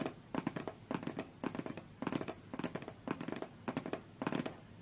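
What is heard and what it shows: A long-fingernailed hand taps and scratches a closed, hollow, medium-size white cardboard Galaxy Tab A8 box resting on a fur rug. Quick clusters of dry, hollow taps with a low-mid body repeat every half second or so, each dying almost instantly. Between them run faint scratchy rustles over a quiet background.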